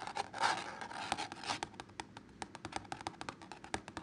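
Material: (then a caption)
Canvas. Fingertips and short nails scratch and tap the painted surface of a canvas wall art piece showing red poppies on an orange and ochre background, likely stretched over a frame. A dense, papery scratching fills the first second and a half, then gives way to a rapid series of short, dry, bright taps with almost no ring.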